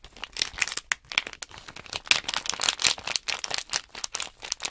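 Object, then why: Sealed plastic bag of small plastic blocks. Hands shake and crinkle a small sealed plastic Nanoblock package bag holding loose plastic blocks, so the blocks rattle inside. The result is a dense run of short, bright crinkling and rattling bursts with almost no low end, each dying away almost instantly.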